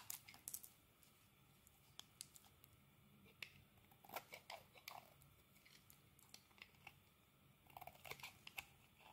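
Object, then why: Bar of soap scraped with a metal blade. A metal utility blade scrapes across the surface of a solid green bar of soap, curling off thin shavings. Quiet, bright, crisp scraping clicks and short rasping strokes come in irregular clusters over a faint steady background hiss.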